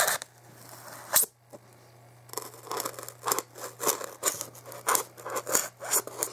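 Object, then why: Expanded polystyrene block. A hand holds a solid white expanded polystyrene block while a pointed dark tool scrapes and scratches along its top edge, then fingertips rub the block. A quiet opening and a sharp early scratch give way to a run of dry, bright, squeaky scraping bursts over a faint low hum.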